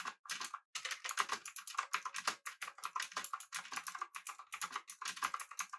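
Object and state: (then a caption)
Clicky mechanical keyboard being typed on. Fingertips of both hands type rapidly on a full-size backlit typewriter-style mechanical keyboard with blue switches, an aluminum body and round plastic keycaps. A dense stream of sharp, bright clicky keystrokes follows with almost no low end, each click dying away almost instantly. The hits run together too closely to count reliably.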